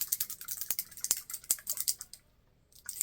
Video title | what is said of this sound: Renessaince Festival Haul & Talking About My Time at Faire of Champions! Shopping at RenFest | you can hear the stuff in there she put like a gem in there